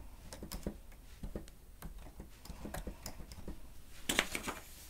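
Keys on a grey plastic stenotype machine with a screen are pressed rapidly with the fingertips and nails of both hands. The result is a quick run of soft, dry plastic clicks and taps with low thuds and bright ticks. A louder cluster of keystrokes comes near the end.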